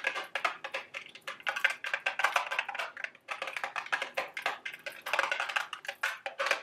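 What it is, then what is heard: Cardboard candy box. A small, hollow, printed milk-carton-shaped cardboard candy box of Dubble Bubble gum Easter eggs is held in the hand and tapped and scratched with long, sharp acrylic nails. A rapid stream of dozens of dry, crisp clicks and scratchy rasps comes through, bright and midrange-heavy with almost no low end. Each tap dies away almost instantly.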